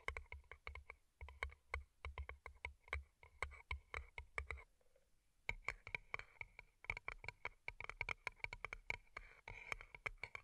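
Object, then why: Small paper cup covered in plastic rhinestones. Long nails rapidly tap and scratch two small, hollow, empty paper cups turned upside down and covered in colorful plastic rhinestones. The result is a fast, bright, typing-like clicking with a sharp ring around 2.2 kHz and soft low thumps underneath. The clicking pauses briefly around the middle, then resumes densely until the end.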